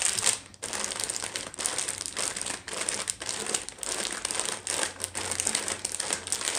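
A small, full, sealed plastic package of La Moderna dry shell pasta lies flat on a wooden tray while long nails quickly tap and scratch it and fingers press on it. The result is a steady run of bright, crinkly plastic taps and rustles with short bursts of scratching.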